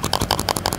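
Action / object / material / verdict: shake / plastic-cased lithium drone battery pack / plastic / loose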